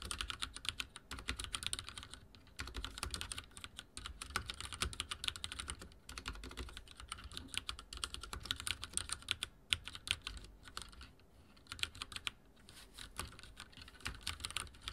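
A backlit tenkeyless mechanical keyboard with dark plastic keycaps on a silver frame and hollow linear switches sits on a wooden desk as fingertips of both hands type rapidly across it. A dense stream of short, bright, clicky keystrokes clatters on for the whole clip, with brief pauses between bursts and a faint low thump under each press.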